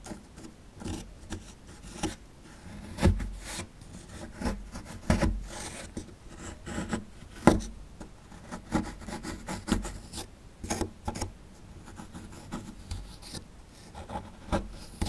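A chisel tool scrapes the crumbly plaster at the bottom of a small, solid plaster fossil excavation block. Irregular gritty scraping and rasping strokes, mostly low in tone, are broken by a few sharper, louder scrapes. A short, dry crunch ends each stroke.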